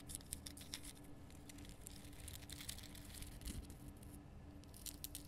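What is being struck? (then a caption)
Rock salt block. Long nails scratch and tap the rough surface of a large, glowing pink Himalayan rock salt lamp, a solid salt block. Quiet, bright, dry scraping and crisp little ticks come in quick irregular clusters. A faint steady low hum runs underneath throughout.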